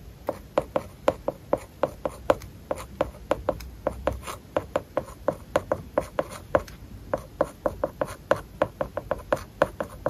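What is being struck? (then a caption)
Stylus on glass tablet screen with plastic matte film. A stylus tip writes small handwriting strokes on an iPad glass screen covered with a matte, paper-like plastic film. About forty short, dry scratching taps come in quick, uneven bursts, each with a faint tick near 530 Hz that dies away almost at once.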